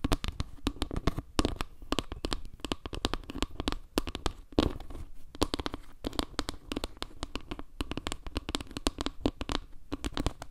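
Long nails tap quickly on the edge and center tiles of a solid, round wooden log-slice panel. The result is a dense stream of short, dry clicks with a woody knock around 300 Hz, bright tips and very little ring.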